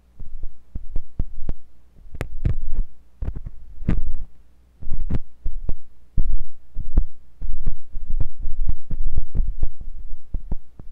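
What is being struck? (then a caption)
Silicone ear of a binaural microphone probed with a metal tool. A thin metal pointed sculpting tool with a wooden handle, held by fingers with long pink nails, scratches and pokes inside the ear canal of a white silicone ear on a block-shaped binaural microphone. The result is close, deep, muffled thumps and pressure-like rumbles with short scrapes in irregular bursts, sitting over a low steady hum.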